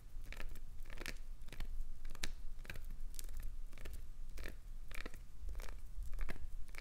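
Long acrylic nails repeatedly dig into and scrape a chunk of solid translucent green glycerin soap, making crunchy flaking sounds. Short, bright, crackly bursts of scratching and tearing repeat throughout over a low, steady rumble.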